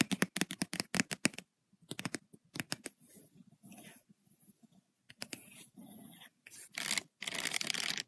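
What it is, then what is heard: Spiral paper notebook. Long acrylic nails tap and scratch the page of an open lined paper notebook, close to its metal spiral binding. Quick runs of sharp, bright taps with almost no ring alternate with softer, sustained scratching strokes across the paper.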